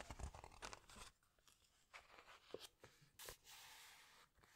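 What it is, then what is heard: Glossy book pages handled. Fingertips with long nails press, squeeze and rub the glossy paper pages of a large open hardcover book, then turn a page. Soft crinkling and crisp papery crunches come in short bursts, followed by a bright sweeping swish as the page turns over. The sound is quiet and close, with brief pauses between the rubbing sounds.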